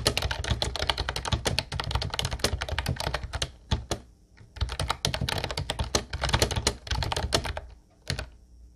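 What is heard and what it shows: Both hands tap the round white keycaps of a light blue plastic retro Ubotie keyboard with their fingertips. The result is rapid, dense bursts of bright, clacky key clicks over a low thocky body. The typing pauses briefly near the middle and again near the end, with a few isolated taps in between.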